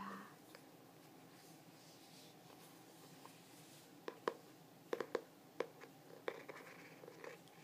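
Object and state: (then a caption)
Hardcover journal tapped with fingernails. Fingernails scratch and tap the glossy, textured Starry Night cover of a medium hardcover journal, a solid book held by its face. Soft, quiet scratching fills the first few seconds, then a scattered run of short, crisp taps with no ring follows over a low, steady background hiss.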